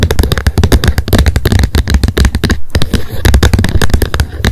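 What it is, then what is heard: Plastic lid of a wet wipes pack. Long nails tap fast on the plastic lid of a wet wipes pack lying flat on a fluffy mat in front of an untouched binaural mic. A dense stream of quick, sharp clicks follows with almost no gaps, each dying away at once over a low, steady rumble.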